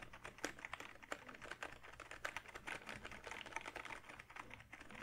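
A hollow, backlit plastic gaming keyboard with plastic keys is held up and typed on with the fingertips. It gives a steady run of quick, light clicks and clacks with a bright, hollow plastic tone. Each tap dies away almost at once, at a quiet overall level.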